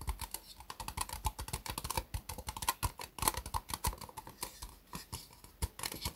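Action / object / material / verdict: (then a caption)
tap / disposable plastic cup / plastic / none. Fingertips and nails tap quickly all around an empty, hollow white disposable plastic cup turned upside down. Dozens of light, rapid taps form a steady patter of short clicks with a hollow ring near 1 kHz. Soft low thumps sit under bright nail ticks, and each tap dies out almost at once.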